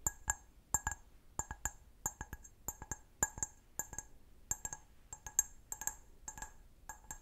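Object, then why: Stemmed glass goblet. A clear, hollow, empty stemmed glass goblet held in the hand is tapped with long nails, producing about 25 sharp, high-pitched clinks, often in quick pairs. Each tap gives a bright glassy ping that dies away almost at once.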